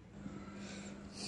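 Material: Nothing is struck.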